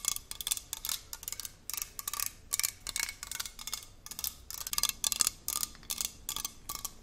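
A hollow, handheld red aluminium sports water bottle with a screw cap is tapped with long nails all along its body. The result is a rapid stream of bright, crisp clicking taps with a faint short metallic ring and almost no low end.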